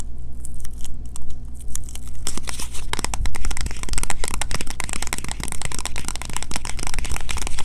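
Long fingernails tap and scratch fast on a small green printed cardboard box with a bar of soap inside, held in the hands. A few sparse, crisp clicks give way after about two seconds to a dense, continuous stream of rapid dry taps and crackly scratches, over a steady low hum.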